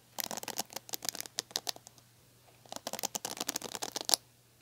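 Long nails tap the smooth plastic back of a red plastic paddle hairbrush, then scratch and pluck its plastic bristles. Two bursts of quick, dry, bright clicks and scratches are heard, separated by a brief pause, with a sharper snap near the end.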